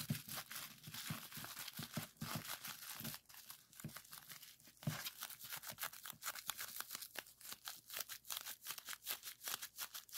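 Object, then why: Plastic bubble wrap. Clear plastic bubble wrap is rolled and scrunched between both hands, its bubbles squeezed, popped and crinkled. Rapid, bright, dry crackles and sharp pops come in dense bursts with no ring, easing briefly in the middle before picking back up.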